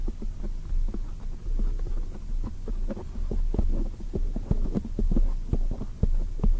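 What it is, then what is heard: Foam microphone windscreen being tapped. Long white acrylic nails on both hands tap a black oval foam microphone windscreen. The result is a quick, uneven run of soft, muffled thumps over a steady deep low hum, each tap dull and short with no ring and nothing bright.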